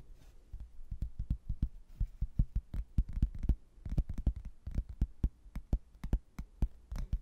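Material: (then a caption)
Hardboard. A rigid laminated hardboard placemat, a solid thin board printed with a manor-house photo and a textured border, is held in both hands and tapped and scratched with fingertips and nails. A rapid, uneven run of short, dull, low thuds comes through, each dying away almost instantly, with faint scratching between them.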